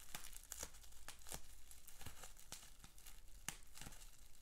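A rolled sheet of clear plastic bubble wrap with small bubbles is held in both hands while the fingers twist and crinkle it. The result is a steady run of dry crinkling and tearing-like crackles, broken by sharp, bright snaps that die away almost instantly.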